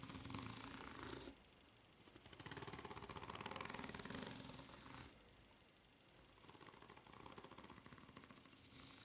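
Long nails scratch the serrated underside of a white ridged rubber flip-flop sole. Rapid, raspy, bright scraping comes in sustained bursts separated by short quieter gaps.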